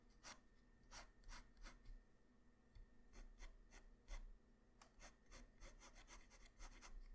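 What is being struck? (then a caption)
Graphite pencil on paper sheet. A graphite pencil tip makes short sketch strokes on a flat white paper sheet, producing a quick series of brief, bright, dry scratches that stop almost instantly. A steady low hum runs quietly underneath.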